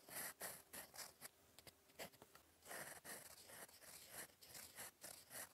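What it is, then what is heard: Fountain pen nib scratching on paper. A gold metal fountain pen nib scratches across lined cream writing paper on a notebook, writing cursive words. Quiet, bright scratchy strokes come in short bursts with brief pauses between them. A faint, steady tone sits under the first half.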